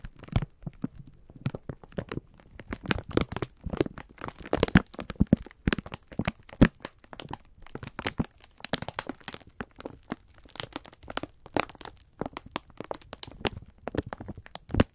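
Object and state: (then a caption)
Plastic-wrapped pack of sponge scourers. Fingertips squeeze and rub the crinkly clear plastic film wrapper of a full pack of sponge scourers. Many sharp, dry crackles and crinkles come in quick irregular bursts over soft rustling, with a low body and little ring after each crackle.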